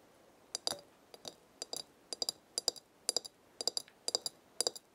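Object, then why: Glass jar of dried herbs. Long red nails tap the glass side of a glass herb jar full of dried leaves with a black lid. About 19 bright, sharp clicks come in quick groups of two or three, each dying away almost at once.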